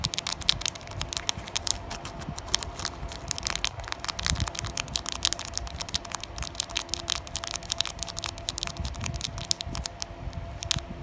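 Long natural nails tap and scratch across a flat, sealed Digimon Carddass EX-01 trading card pack with a thin glossy plastic foil wrapper. Dense, crisp crinkling clicks and bright ticks run steadily through the whole clip over a faint low rumble.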